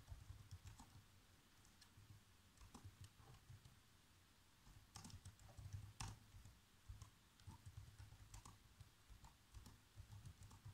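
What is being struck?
Plastic laptop keyboard.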